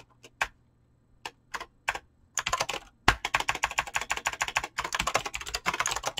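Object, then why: Mechanical keyboard with PBT plastic keycaps. Fingertips with short painted nails type fast on a full-size mechanical keyboard with Razer green clicky switches and pink-blue PBT plastic keycaps, resting on a desk. A few separate, sharp keystrokes open the clip, then it breaks into a rapid, continuous run of bright, crisp clicks with little low-end weight.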